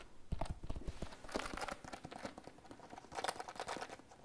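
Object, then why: Plastic pencil case. Long fingernails tap a hollow, iridescent holographic PVC pencil case held over a table. The result is a quick, uneven series of short, dry plastic clicks with soft low thuds, and brighter crinkly bursts around the middle and near the end.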